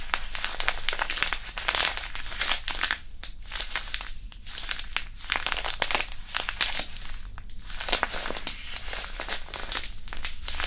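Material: Non-woven fabric.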